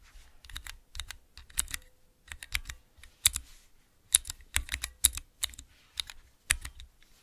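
Fingertips press the keys of a small clear plastic 3x3 Cherry MX key switch tester with transparent keycaps, held in both hands. Quick clusters of sharp, bright plastic clicks and clacks sound with a light low thump under each press. Each one stops almost instantly, with short silent gaps between bursts.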